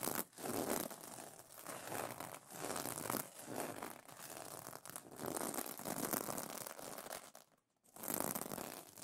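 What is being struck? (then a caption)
Plastic sequin fabric pillow cover. Fingernails scratch across the plastic sequins of a sequin pillow cover, giving a steady run of crinkly, scratchy flipping sounds in repeated strokes. A brief near-silent pause comes just before the end.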